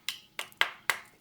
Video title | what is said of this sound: Why Deep-Fry Steak at -320°F? | it sounds like glass